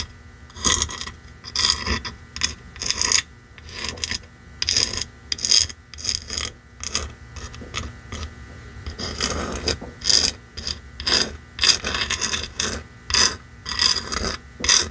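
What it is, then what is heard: Painted wooden box sign. A red painted wooden box sign lies flat while long nails scratch and tap along its lettered face and side edge. The sound is a series of bright, dry scratching bursts and quick taps with very little ring, separated by short quiet gaps.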